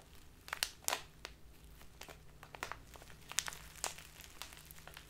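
A clear, labeled plastic tea package full of loose tea is crinkled and squeezed by both hands with long nails. Sharp, bright crinkles and crackles come in irregular bursts over a quiet, faint low hum. Each snap dies away almost instantly.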